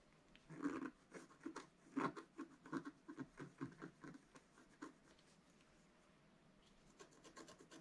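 A wooden stylus repeatedly scratches the black coating off a flat, solid scratch art card of coloured foil paper, about A4 size, lying on a table. Quiet, dry scraping strokes come in uneven bursts for the first few seconds, then pause before a quick run of brighter, short scratches near the end.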